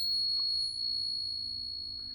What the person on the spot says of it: And silver's got that really nice long ring.